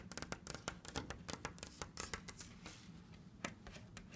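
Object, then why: Painted wooden cabinet door. Long red nails tap and scratch a hollow, orange-brown painted wooden cabinet door decorated with Egyptian hieroglyphs and fitted with a small black knob. The result is a quick, uneven series of sharp, bright clicks with short dry decays and soft scratchy rustling between them, each tap carrying a faint hollow low thud.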